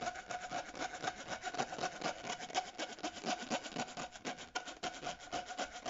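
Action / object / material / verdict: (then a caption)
scrape / ribbed plastic tube / plastic / none. Short natural nails scratch and rub along the ridges of a purple, ribbed, hollow, flexible plastic corrugated pop tube held in both hands. The result is a fast, uneven train of raspy, bright scrapes, about four per second, with a steady ringing tone near 740 Hz running through them.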